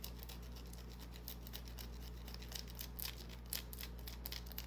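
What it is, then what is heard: Bar of soap scratched with fingernails. Long painted nails scratch and tap a small solid white bar of soap held in the palm, leaving shavings on the hand. Quick, dry, bright scratching ticks come in an uneven stream over a steady low hum.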